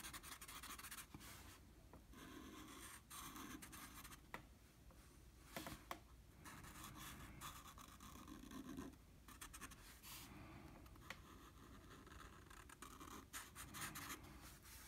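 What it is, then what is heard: Marker on drawing paper. A blue felt-tip marker colors in shapes on a flat sheet of drawing paper with rubbing strokes. The result is a quiet, continuous scratchy rasp that rises and falls with each stroke, broken by a few brief sharp ticks.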